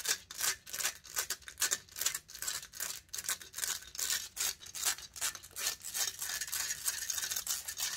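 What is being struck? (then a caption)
Metal mesh microphone grille. Long nails scratch the hollow metal mesh grille of a large silver condenser microphone in rapid, uneven back-and-forth strokes. Each stroke is a bright, hissy rasp with almost no low end, and the strokes follow each other closely for the whole clip.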